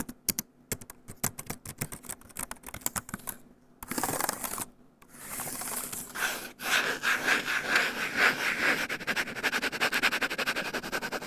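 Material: Plastic.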